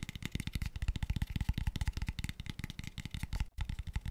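An empty, light, pale wooden square tube box (a small hollow open-ended tube) is tapped rapidly with fingertips and nails while held close to the microphone. The result is a dense, uneven stream of quick, dry, low knocks with short clicky ticks on top, each dying away almost instantly. There is a brief silent gap near the 3.5-second mark.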